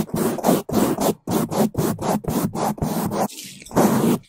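Two bamboo toothbrushes held in gloved hands scrub the sides and top of a black foam microphone windscreen. The result is a rapid series of loud, muffled, rumbling scrubbing bursts with short gaps between them, plus a softer rustle near the end before one last burst.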